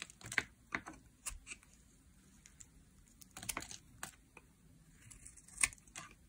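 A solid, translucent pink bar of dry soap, held in the hand, is shaved with a metal blade that cuts off flakes. The result is a series of short, crisp, bright scraping and cutting clicks at irregular intervals, with quiet gaps between them and almost no low end.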